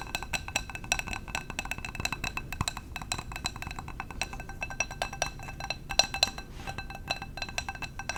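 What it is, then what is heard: Glass candle jar. Fingers tap rapidly and continuously on a glass candle jar for ASMR. Each tap gives a short, bright glassy click with a high ring that dies away almost at once, over a faint low rumble.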